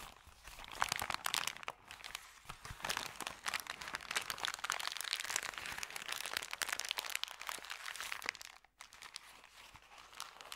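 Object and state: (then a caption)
Paper bag being crumpled. Hands scrunch and fold a thin, empty, crumpled white paper bag, making continuous dense crinkling with sharp crackles. The sound is bright and papery with almost no low end, broken by a brief near-silent pause before the crinkling resumes more softly.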